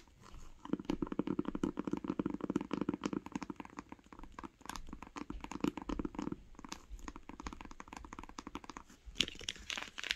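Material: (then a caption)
Cloth, board. Long nails tap rapidly on the cover of a grey cloth-bound hardcover book lying flat. The result is a dense run of short, dry clicks with no ring, carrying a muffled low-mid thump beneath a crisp top, and the taps turn brighter and sharper near the end.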